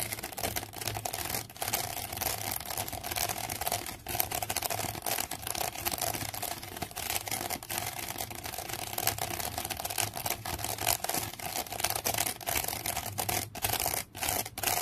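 Long fingernails scratch and tap along the side of a woven wicker basket, making a dense, continuous run of dry, bright crackles and clicks for about fifteen seconds. A faint steady tone near 730 Hz and a low hum sit underneath throughout.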